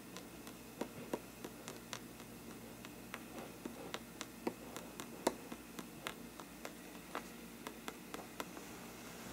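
The tip of a thin brush handle taps the paper side of a hollow faux-parchment paper lampshade, giving about two dozen short, dry ticks at an uneven pace. Each tap is crisp with a bright edge and dies away almost instantly, heard over a quiet, steady background hiss.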